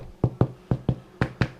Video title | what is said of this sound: Bread Rolls Making Demonstration. | if you get that hollow sound, then you know that they're baked